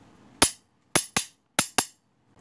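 A steel spoon is tapped in a one-two-two pattern, giving five bright, sharp metallic clicks: one on its own, then two quick pairs. Each tap rings only briefly over a quiet background.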